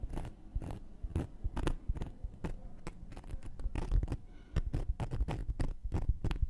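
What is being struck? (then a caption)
Cork coaster tapped with a wooden needle. A round, flat, solid cork coaster is held in one hand while a thin wooden knitting needle taps and pokes its surface and rim. The result is a quick, irregular run of dull, muffled taps that die away at once, with soft scraping between them and little brightness.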